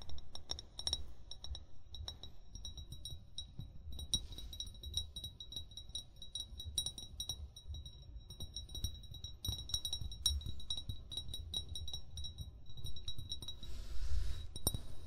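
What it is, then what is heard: Glass bottle. An upright, hollow amber glass wine bottle, fill level unseen, is tapped rapidly with short fingernails and fingertips. It gives bright, high clinks that die away almost at once, over a steady low rumble. The tapping gets slightly louder and busier near the end.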